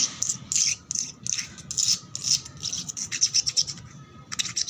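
Long black nails scratch and rub quickly back and forth across a flat, solid concrete floor with peeling red paint that is wet and foamy. A rapid string of bright, hissy scrapes comes in short bursts with brief gaps between them, with almost nothing in the low end.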